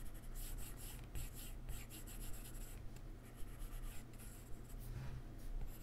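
A plastic-tipped stylus held in the fingers draws strokes and taps across the glass touchscreen of an iPad lying flat and solid on a keyboard. The result is quiet, bright, scratchy rubbing in short bursts, with occasional light taps over a steady low hum.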